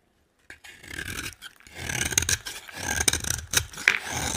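A utility knife scrapes and carves the top edge of a solid, dry orange bar of soap. After a brief silence, a run of crisp, bright scraping strokes follows, with sharper high clicks as the blade bites into the soap.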